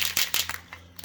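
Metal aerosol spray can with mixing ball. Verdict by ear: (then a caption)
Loose. A metal aerosol can of Plasti Dip rubber coating spray is shaken hard before being sprayed on wheels, and the mixing ball inside rattles. About six bright, sharp clacks come through over a faint low hum, showing the ball has come loose and the paint is mixing.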